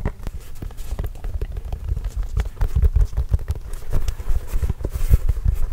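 A full-size orange signed Spalding basketball, hollow and inflated, is held near the microphone and tapped with the fingertips. Rapid, uneven taps make deep, hollow thuds that die away almost at once, each with a faint bright click on top.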